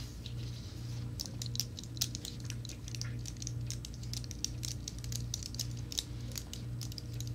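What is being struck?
Plastic and aluminium keyboard keys.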